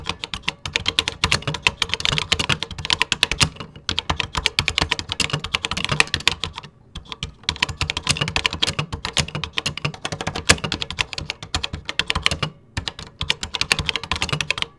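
Fingertips type steadily on the beige plastic keys of a Tandy CoCo 2 computer keyboard, producing a dense run of short, bright, clicky keystrokes with a light low thump under each press. The typing pauses briefly a few times before resuming at the same even pace.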